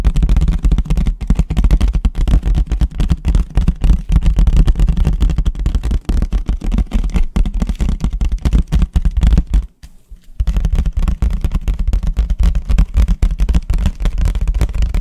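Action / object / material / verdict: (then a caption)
tap / disposable paper plate / paper / none. A large, thin, empty white disposable paper plate is held flat, then upright, and tapped fast and hard with the fingertips. The result is a dense, rapid stream of short, dull, low thumps with almost no high end, broken by a brief pause near the ten-second mark before the tapping resumes.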